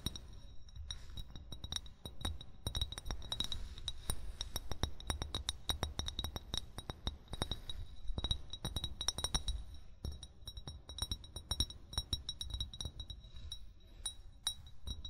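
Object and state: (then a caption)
Glass bottle. An upright, hollow amber glass wine bottle is tapped rapidly and irregularly with short fingernails and fingertips. The taps are short, bright clinks with a glassy ring near 3.8 kHz, over a steady low rumble.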